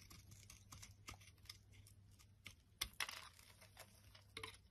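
A utility blade scrapes and carves a solid striped purple and white soap bar held in the palm, piling up flakes. Quick, dry, bright scraping ticks and crackles repeat over a faint steady low hum, with the sharpest, loudest cuts near the middle.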